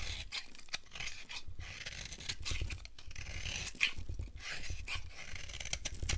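A solid, dry, pale yellow oval bar of soap is held in the hand and scraped with a utility knife, breaking it into powder and shavings. Dry, crunchy scraping strokes run almost continuously with a bright, gritty hiss and a low rumble underneath, with one sharper, louder scrape near the four-second mark.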